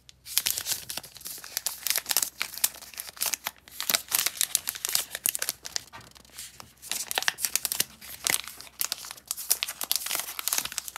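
An unopened, solid milk chocolate bar in a paper and foil wrapper is held in both hands and turned over while long painted nails and fingertips rub, squeeze and crinkle the wrapper. Bright, dense crinkling and crackling comes in bursts with brief quieter gaps, and there is almost no low end.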